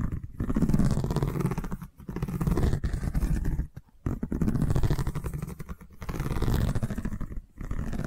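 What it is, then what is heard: Woven seagrass tube. A long cylindrical woven seagrass tube, covered in a woven straw weave and held in one hand, is scratched with the long nails of the other hand. The result is a dense, low, rumbling scratch in sustained bursts separated by brief pauses, with almost no bright high end.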